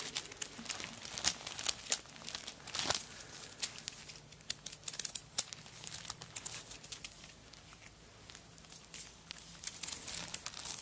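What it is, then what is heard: Coconut shell bag. Long acrylic nails scratch and grip the surface of a hollow, empty handbag covered in small dried coconut shell chips, and the hands also touch its wooden bead handle. The result is a quiet, bright, crinkly stream of dense scratching and sharp little clicks, with occasional louder snaps and almost no low end.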